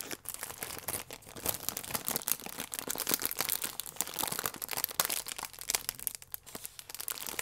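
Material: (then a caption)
Plastic film. A plastic film wrapper with a croissant inside is crinkled with the fingertips, then bunched and twisted in both hands. The result is a dense, continuous stream of sharp, bright crackles and crinkles with almost no low end, each snap dying away almost instantly.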